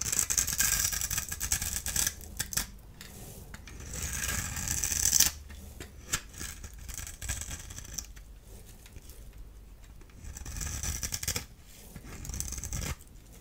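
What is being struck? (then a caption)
Bar of soap shaved with a small blade. A solid orange-and-white striped dry soap bar is held in the hand and shaved with a small blade tool, and flakes fall away. Bright, dry scraping and crisp rasping come in bursts of uneven strokes, with some louder passes and quieter stretches between them.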